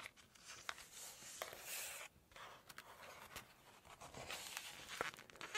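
Long nails brush, scratch and tap across the glossy printed photo pages of a large open Chinese cookbook. Soft, bright hissing strokes are broken up by sharp little ticks, with a brief quiet pause partway through.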